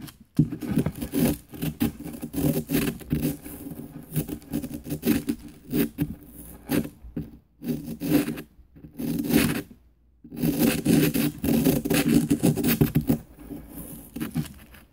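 A small, flat, light-colored pick tool rapidly scrapes a solid green plaster dig block resting on a paper plate and held by fingertips. Bursts of dry, gritty scraping and scratching follow one another, with short pauses. The sound is strongest in the low-mid range, with little high end.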